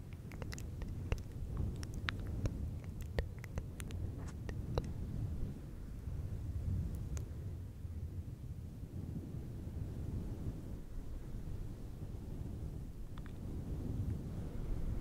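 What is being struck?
Synthetic fur microphone windscreen.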